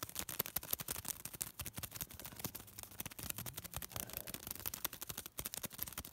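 A small crumpled piece of thin white paper is rubbed and crinkled between fingertips, producing a dense stream of rapid, sharp, bright crackles. The crackling runs steadily through the whole clip, with a faint low hum underneath in the middle.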